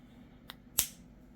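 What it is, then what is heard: Raw egg with cracked inner membrane. A spoon taps a raw chicken egg twice, first a faint bright tick and then a sharper, louder crack with a brief bright tail. The crack is the egg's inner membrane breaking while the shell stays whole, and this time it gave way much faster.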